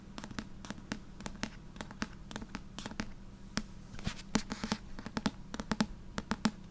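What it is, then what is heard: Tapped paperback book cover. Fingertips tap rapidly and repeatedly on the cover of the paperback book "I Am a Cat." The taps are short, dry clicks with almost no ring, some sharper and louder than others, over a faint steady low hum.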